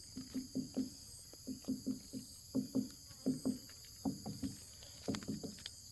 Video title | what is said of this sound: The Macha way of harvesting jackfruit (nangka)!!! | So that is the hollow noise.